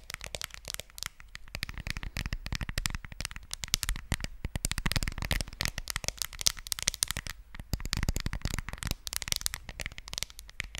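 A smartphone in a white case is held sideways in both hands over the microphone and tapped with long fingernails. The result is a rapid, dense stream of sharp, bright clicks with almost no ring, and a low thump under each tap.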